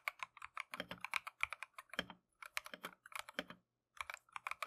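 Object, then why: Plastic mechanical keyboard. Gloved fingertips type continuously on a Keychron V1 plastic mechanical keyboard fitted with Tangerine switches and green-and-cream PBT keycaps. About 29 quick, bright, clacky keystrokes come in bursts with brief pauses, each tap dying away almost instantly.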